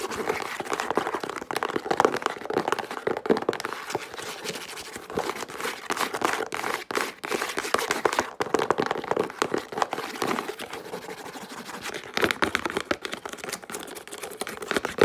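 A small, flat, hollow brown cardboard box is held in the hands while long pink acrylic nails tap and scratch fast across its faces and edges. The result is a dense, continuous stream of dry, crinkly clicks and scrapes in the mid range, with brief louder bursts and a slightly hollow tone.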